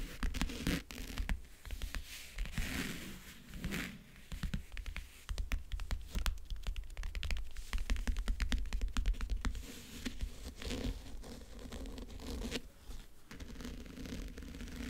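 Fingernails rapidly tap and scratch the lid of a closed, hollow backgammon case covered in map-print faux leather. Dense clusters of quick, dry taps blend with rough scratching, with hollow low thumps from the case underneath. Each tap dies away almost at once.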